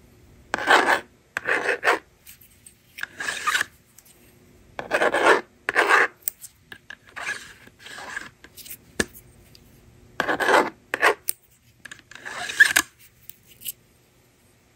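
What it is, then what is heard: Plastic magnetic drawing board. A yellow plastic stylus writes on the screen of a hand-held blue and pink plastic magnetic drawing board, and a fingertip pushes its plastic eraser slider. Short, irregular bursts of dry, raspy scratching come and go with quiet gaps between them. Each stroke is bright and papery, centered in the upper midrange, with almost no low end.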